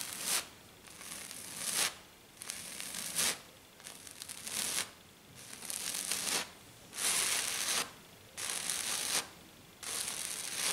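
Long black nails scratch and tap fast and hard on a flat silver glitter-coated sheet, mostly with one hand. The result is repeated bursts of bright, high, gritty rasping, separated by short quiet gaps, with almost no low end.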